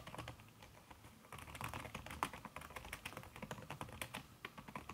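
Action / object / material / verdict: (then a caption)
tap / laptop keyboard with silicone key cover / silicone / none. Fast typing on a backlit aluminium laptop keyboard fitted with a red silicone key cover, struck by fingertips and long red nails. A quick, steady run of soft, muffled taps with occasional brighter clicks, each dying away almost instantly.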